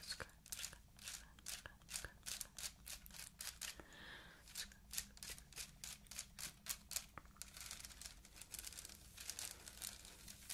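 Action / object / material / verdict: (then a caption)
scrape / small handbag of faceted plastic beads / plastic / none. Long white acrylic nails scratch a small, hollow, empty handbag woven from clear faceted plastic beads. The result is a steady run of quick, bright, crackly rasps and clicks over a faint low hum, with a brief softer pause near the middle.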